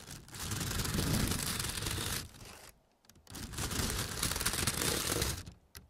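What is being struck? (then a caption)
Foam trays wrapped in plastic film. Fingertips and nails tap and scratch the clear plastic film wrapped around a large bundle of stacked white foam trays marked "24" in red. Two dense bursts of crinkly, crackling scratching, from the start to about 2.7 s and again from about 3.3 s to 5.5 s, spread from a low thump up into bright hiss. A short near-silent gap separates them, and the clip ends with a few faint taps.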